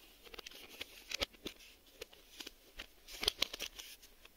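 A hand-sized printed cardboard Maxell VHS sleeve box, possibly holding a tape, is scratched and rubbed on its faces with fingertips and short nails. The result is quiet, dry, bright scratching and papery ticks in an irregular series of short bursts that stop at once, with almost no low end.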